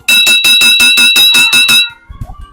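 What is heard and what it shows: A bottle filled halfway with coloured water is tapped about ten times in quick, even succession, each tap giving a bright, ringing tone near 2.6 kHz with a higher overtone. The last tap rings briefly and fades, followed by a few faint low knocks. The ringing sound changes as the amount of water in the bottle changes.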